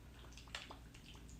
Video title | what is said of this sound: Ceramic Hour 9 - 9.1.2023 - Creating underglaze test tiles | it sounds like the right consistency